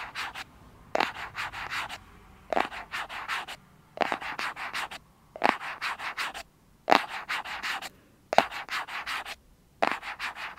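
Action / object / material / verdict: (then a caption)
scrape / small cardboard box / cardboard / none. Fingernails scratch and rub the surface of a small, hollow white cardboard box held in both hands, making dry, papery scraping strokes. The strokes come in quick bursts: each opens with a sharper scrape, followed by several rapid rubs, and the bursts are separated by short pauses in a loosely repeating pattern.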